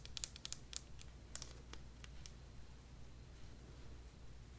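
A small yellow-and-white vinyl figure, seemingly hollow, is held close in both hands and tapped with long dark-painted nails. About eleven quick, bright, clicky taps cluster in the first two seconds, each dying almost instantly. The taps then stop, leaving a steady low hum.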